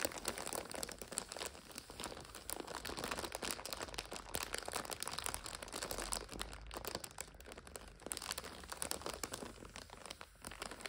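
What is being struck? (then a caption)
Plastic wrapper of an instant noodle multipack. Fingertips rub and long nails scratch and tap the plastic wrapper of a full multipack of instant noodles lying flat. The result is a steady, dense crinkling and crackling with many quick, bright taps and no clear pauses throughout.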